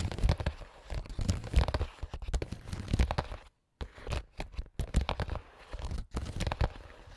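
AA battery tips worn on the fingers tap and scratch across a clear, translucent printed plastic makeup pouch holding small items. The result is a dense run of crinkly, crackling taps and scrapes with soft low thumps, broken by a brief silent gap midway.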